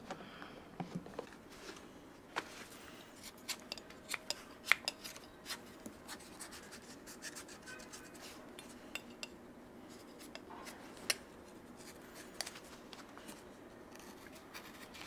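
A flat steel scraper blade is drawn along the leather sole edge of a shoe fitted on a green last and held on the lap. It makes a soft, bright, continuous scratching rasp. Short, sharp ticks pop out now and then over the quiet scraping.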